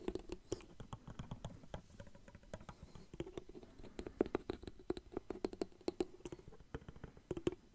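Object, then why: Plastic water bottle with cap. Fingertips tap rapidly and unevenly on a small clear plastic water bottle with a blue cap, partly filled with water, close to the mic. Each tap is a short, dry click with a hollow plastic tone around 360 Hz and faint bright ticks. The taps come in quick, quiet clusters with almost no ring.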